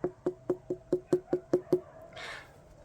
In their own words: Điều này nghe có vẻ tốt, thực sự có một tiếng vang. Khi bạn gõ vào và nghe thấy tiếng vang đó thì bạn biết là dưa đã chín